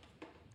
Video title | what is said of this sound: Os à Moelle Rôtis et Escargots Flambé - Recette Food’Cuisine | on sent on entend bien croustillant